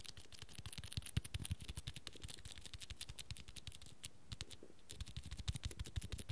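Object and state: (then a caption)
Cloth-bound hardcover book, tapped and scratched. Fingertips and nails rapidly tap and scratch the dark red fabric cover of a small, solid cloth-bound hardcover book with cream pages. The result is dozens of soft, dull, low thumps mixed with bright, dry scratchy clicks, with a brief lull near the middle before the quiet tapping picks up again.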